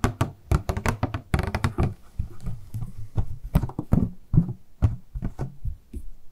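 A small, hollow, transparent purple plastic packaging box with a paper insert is held in both hands and tapped and handled with long nails and fingertips. The result is a quick, uneven series of dull, hollow knocks and light clicks, mostly low in tone with very short ring.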